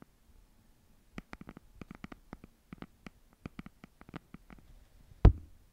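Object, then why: Hardcover notebook with cardboard cover. A red hardcover notebook is held flat in both hands while long nails tap and scratch its cover. About two dozen short, dry, quiet clicks and taps come in an irregular patter. Near the end a single louder, heavier thump stands out.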